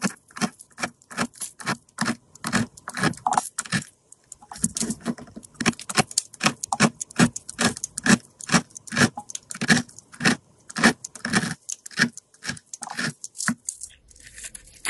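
A solid, round, multicolored bar of soap held in the hand is scored and scraped with a metal blade, raising crumbly shavings. Quick, dry scraping strokes come one after another in a steady rhythm, each a short bright rasp, with a brief pause near four seconds before the strokes resume.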